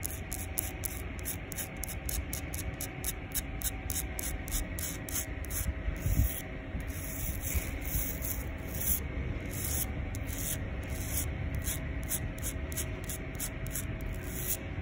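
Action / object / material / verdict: scrape / concrete sidewalk slab / concrete / none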